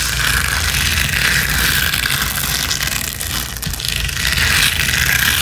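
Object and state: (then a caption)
Rhinestone mesh sheet. Long nails scratch fast across a flat gold rhinestone mesh sheet resting on a spiky cushion. It makes a steady, dense bright scratching hiss with a low rumble underneath, dipping briefly in the middle before picking back up.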